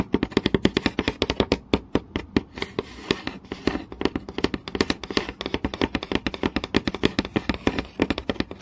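Fingertips and long nails tap fast on a flat, solid wooden board with visible grain, seen close up. Some 65 short, dry knocks land in quick, uneven bursts, each with a woody body around 390 Hz and a crisp clicky edge that dies away almost instantly.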